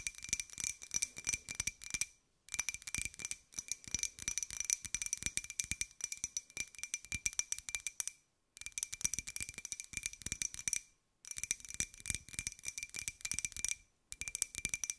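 A small, hollow white ceramic cup-shaped jar with a pink and gold pineapple print is held in both hands and tapped with long nails. Rapid, crisp, bright clicks with a faint high ring come in dense bursts, broken by short silent pauses.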